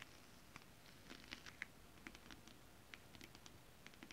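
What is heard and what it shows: Long nails tap and scratch with both hands across a flat, holographic, mermaid-scale-printed fabric. Quiet, crisp ticks and light scratchy patters are scattered throughout, several with a brief bright ring near 2 kHz, over a faint steady low hiss.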